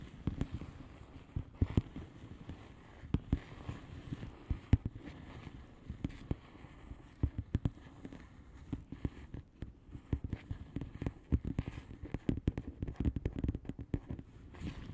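Long polished nails tap on the bubbles of a flat, hollow plastic bubble-wrap mailer lying on a surface. Quick, irregular taps come in scattered clusters, each a soft, dull, low thud that dies away almost instantly. The sound stays quiet throughout, with little high-end crispness.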